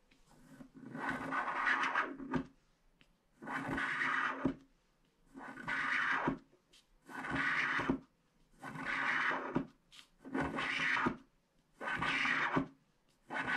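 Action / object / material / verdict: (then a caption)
scrape / wax-coated paper scratch art card scraped with a wooden stick / wax, paper / none. A small, flat paper scratch art card with a black wax coating lies on a table, held by one hand while a pointed wooden stick scrapes the coating off. A series of dry, papery scratching strokes comes in bursts of a second or two, separated by short pauses. Each burst is bright and raspy, with a faint low tone beneath it.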